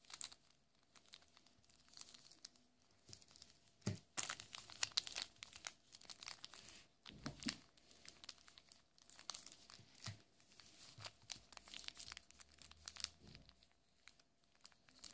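A single small, solid and full Kinder Maxi chocolate bar in its thin plastic film wrapper is rubbed and squeezed between fingertips. The result is a steady stream of bright, dry crinkles and crackles that swell into louder bursts near four seconds and again around seven and a half seconds. Between the bursts, the crinkling settles into quieter rustling.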